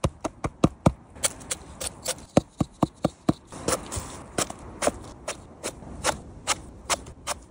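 A large, fuzzy, whitish Pine Cone Amanita mushroom (Amanita magniverrucata), a species that is not edible, is tapped repeatedly. Around 28 short, dry, mid-pitched taps come in a steady, uneven rhythm with almost no ring. A faint soft rustle fills the gaps between them.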